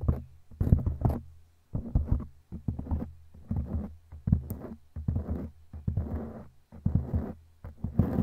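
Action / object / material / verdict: scrape / foam microphone windscreen / foam / none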